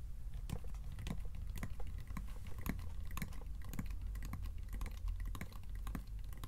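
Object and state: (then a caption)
Wooden chest box tapped with fingertips and nails. Fingertips and short nails tap rapidly on the lid panels of a small, closed, hollow wooden treasure-chest box with metal strap bands and a metal handle. The result is a steady run of quick, light, dry taps and clicks with almost no ring, over a low, dull thud.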